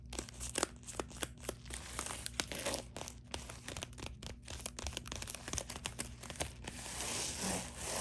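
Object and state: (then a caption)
Plastic bubble mailer. Long dark nails scratch and tap across the face and sealed top edge of a white bubble-textured plastic poly mailer lying flat. Quick, sharp clicks land over a steady, bright crinkling rasp. The scratching swells into a louder, hissy rustle near the end.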